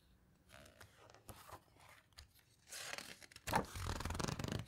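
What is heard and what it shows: Fingertips and long nails rub and squeeze the glossy paper pages of an open hardcover guitar book, then turn them. Quiet, scratchy rustles and short crinkles open the clip, building into louder, broad, bright swishing page turns toward the end.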